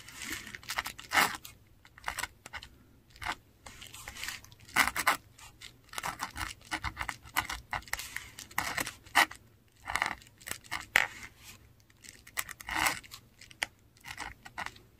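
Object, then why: Textured paper sheet under a metal pen nib. A metal dip pen nib scratches Finnish words in ink across a flat, textured Korean paper sheet. Many short, bright, dry scratching strokes come in bursts separated by brief pauses, with almost no low end.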